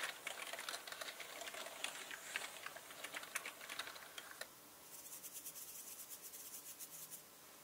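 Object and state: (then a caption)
Plastic mechanical computer keyboard. Both hands type and tap with their fingertips on a black mechanical computer keyboard with plastic keycaps resting on a red cloth, with brushes lying idle at the sides. For the first four and a half seconds there is fast, dense clicking of keys, then a softer, brighter run of lighter, more evenly spaced ticks. The clicks are short and dry, with no ring.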